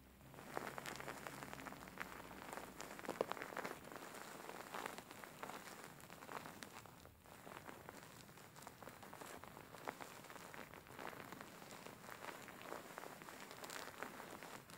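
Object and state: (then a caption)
Faux fur pillow being scratched. Fingers scratch, grab and squeeze the grey faux fur covering a soft stuffed cushion, making a steady, dense rustle of soft crackles and scratches. The texture is quiet and even throughout, with faint low hum early on and brief brighter scratchy bursts scattered across the clip.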